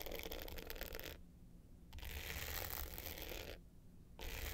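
Long pointed nails scratch the dark blue glitter top of a small, rectangular, hollow hard-case clutch with a gold metal frame, lying flat. Three bursts of dense, gritty scratching with bright hiss are separated by short quiet pauses.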